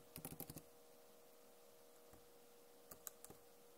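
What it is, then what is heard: Plastic laptop keyboard. Long nails tap and type on a backlit plastic laptop keyboard, giving a quick run of sharp, bright clicks in the first half second. After a near-silent pause with one faint tap, a few more crisp taps follow near the end. A faint steady tone sits underneath throughout.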